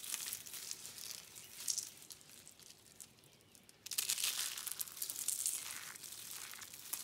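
A pile of brittle, dry yellow, orange and blue soap curl flakes is crushed and crumbled by fingers and hands. The result is a dense, bright crackling and crunching with a quieter lull in the middle before the crumbling picks up again.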